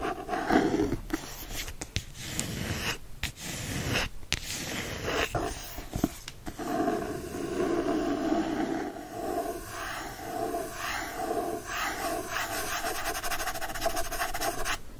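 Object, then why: Hardcover book with paper-covered board cover. Fingertips and nails scratch and rub the front and then the back cover of a Secret Garden hardcover book with a printed, paper-covered board cover. The result is a steady, dry scratching and rubbing with brief pauses and a brighter, rasping edge that continues throughout.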